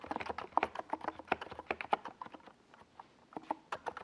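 Fingertips type continuously on a NiZ Plum Atom 68, a small 68-key mechanical keyboard with a white plastic case and purple and yellow Domikey Gas Attack SA plastic keycaps, resting on a desk pad. Short, dry midrange clacks come in a fast, uneven run that thins to a brief lull midway before picking back up. Each keystroke dies away almost instantly.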